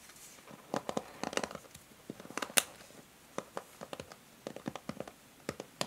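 Long nails scratch the bristle tips and the body of a plastic hair brush held bristles-down. Short, bright, crisp scratchy rasps and clicks come in quick clusters separated by quiet pauses, each dying away almost instantly.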